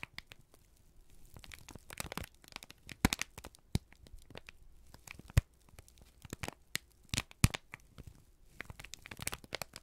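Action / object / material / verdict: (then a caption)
scrape / thin kraft paper sheet / paper / none. A single thin, crumpled sheet of brown kraft paper, held in both hands, is squeezed and crinkled with the fingertips and thumbs. The result is a continuous run of dry, crackling crinkles, with sharp bright snaps breaking through at intervals over a soft low rustle.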